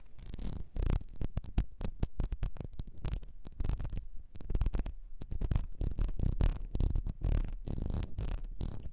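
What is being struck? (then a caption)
Small ribbed glass perfume bottle. Long nails scratch along a small, ribbed, clear glass perfume bottle with a gold nozzle that is partly filled. The result is a rapid, uneven run of short, dry scratching bursts with a heavy low rumble and bright, raspy edges, with brief pauses between strokes.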